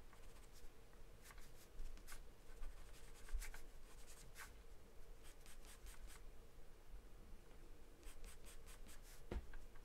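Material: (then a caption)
Paper. A graphite or charcoal pencil held in the hand scribbles, shades and scratches across a large white paper sheet taped flat to a dark surface. The quiet, dry strokes come as bright, papery scratches in short bursts over a steady low background rumble.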